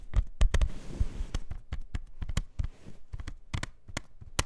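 A plastic CD jewel case is tapped in a quick, irregular series of taps. Each tap is a dry, short click with almost no ring, carrying mostly a soft low knock under a brief bright edge.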